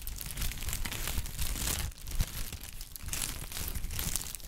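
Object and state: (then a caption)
Honeycomb kraft paper wrap. A small pad of folded brown honeycomb kraft packing paper is squeezed and crinkled with the fingers of both hands. It makes a dense, continuous crackling and rustling with bright, crisp edges over a heavy low handling rumble. The sound eases briefly near the two-second mark before the crinkling picks back up.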